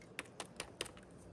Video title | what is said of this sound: Air Fryer Chicken Thighs So Crispy You'll Never Use the Oven Again l Easy weeknight Dinners | This is very crispy. Very crispy and it's hot.